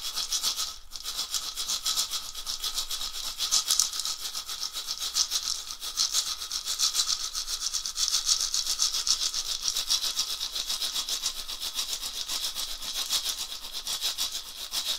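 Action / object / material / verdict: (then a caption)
shake / dried gourd rattle filled with seeds / gourd / none. A round dried gourd rattle with a wooden handle, hollow and filled with small seeds or beads, is held by the handle and shaken back and forth by hand. It gives a steady, bright, hissing swish that runs for the whole clip, with rapid grains of seed and bead rattle and almost no low end.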